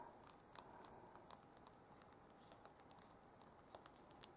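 Long acrylic-style nails tap and scratch the thin hard shell of a brushed silver metal case studded with small rhinestones on the back of an iPhone held in hand. A soft, steady scratchy hiss is dotted with light, bright clicky taps that die away at once. It is quiet and dry, with little low end.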